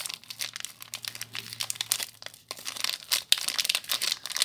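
Fingers with long nails crinkle the loose clear plastic wrap around a small soap bar with a crimped seal. The result is a dense, bright crackling made of many quick, sharp snaps that start and stop with almost no ring. The crackling swells and fades in uneven bursts over a few seconds.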